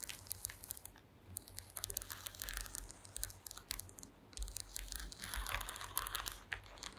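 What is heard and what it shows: Long green acrylic nails tap and scratch across a flat, thin, solid woven wooden slat mat. Rapid, crisp clicks and dry, crackling scratches flicker bright and busy over a faint low hum, swelling in denser bursts throughout.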